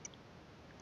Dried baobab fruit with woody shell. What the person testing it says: గట్టిగా సౌండ్ వినిపిస్తుందా మీకు టంగ్ టంగ్ మంటూ సౌండ్ వినిపిస్తుందా రాయి లాగా ఉందండి